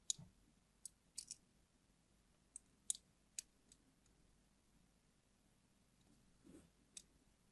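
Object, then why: Glycerin soap bar and small metal blade. A small metal blade tip scrapes and carves shallow parallel grooves into a hand-held, unwrapped, hand-sized solid yellow translucent glycerin soap bar. Sharp, bright clicks come from the blade against the soap, scattered irregularly across the quiet clip. A soft, low scrape follows near the end, then one last click.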